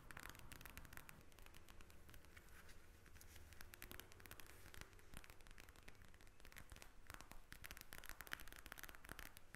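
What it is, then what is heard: Plastic gel bead eye mask. Long acrylic nails tap and scratch the surface of a pink eye mask, a clear plastic shell filled with gel beads lying flat on a table. The result is a quiet, dense stream of rapid, crisp plastic clicks and scratchy rustling with short bright ticks, running steadily throughout over a low background rumble.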